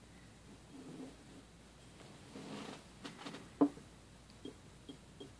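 A small, empty clear glass jelly cup with a printed cartoon label stands on a wooden table and is tapped and clicked with fingertips and fingernails around its sides and rim. Soft rubbing and brushing lead into short, quiet clicks and taps with a brief, dull ring around 285 Hz, with one sharper, louder tap in the middle.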